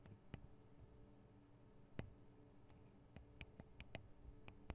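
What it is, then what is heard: Metal microphone capsules tapped with nails. Long acrylic nails tap on the two small cylindrical metal microphone capsules of a Tascam DR-40 recorder. They make quiet, sharp clicks that die away almost instantly, scattered irregularly over a low, steady hum.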